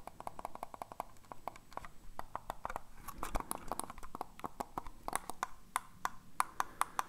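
A hollow black plastic computer mouse, held in the hands, is tapped and scratched with fingernails. Dozens of quick, sharp, dry clicks with a hollow tone around 1 kHz come in rapid runs, and a brief stretch of soft scratching sits between the tapping. Each tap dies away almost instantly.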